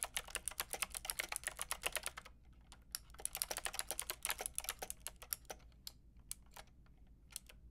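Long painted nails and fingertips type on a white-pink backlit mechanical plastic keyboard with round plastic keycaps. Quick, bright, clacky key taps come in a fast burst, pause briefly, then a second fast run that slows into sparser taps toward the end, each tap short and dry over a faint low steady hum.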